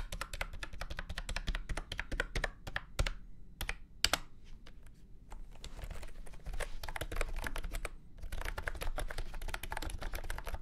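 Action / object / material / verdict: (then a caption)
tap / plastic keyboard / plastic / none. Fingertips type on a full-size beige and orange plastic retro keyboard with round keycaps and a hollow body, resting on a felt mat. Rapid, clattery key clicks with a hollow low thump run in bursts, thinning out around the middle and briefly pausing before a fast final flurry.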